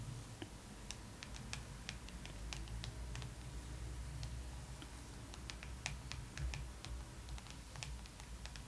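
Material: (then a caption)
Glossy paper. Long acrylic nails on both hands tap and scratch the cover of a thick glossy paper magazine lying flat. Many quick, sharp, bright clicks and light scratches are scattered over a steady low hum, with each tap dying away almost at once.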